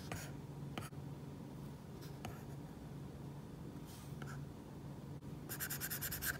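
A plastic stylus tip draws many short line strokes for a crown drawing on an iPad glass screen fitted with a matte plastic screen protector, the flat solid surface giving a dry scratch. Brief bright scratches come in scattered bursts over a steady low hum. The clip ends with a quick run of rapid strokes.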